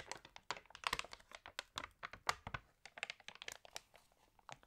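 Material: Glossy paper.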